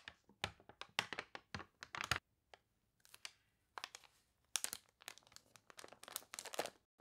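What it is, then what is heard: Water-warped glossy paper catalog. Long nails and fingertips scratch and rub the wavy, water-warped pages of a glossy paper toy catalog, then turn a page. The result is a quiet run of bright, crisp crinkles and crunchy scratches in quick, uneven bursts, with brief pauses between them.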